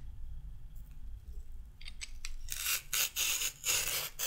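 A raw carrot is peeled with a handheld peeler with a pink handle and metal blade. A few light scrapes give way to a series of bright, rasping strokes over a low background rumble.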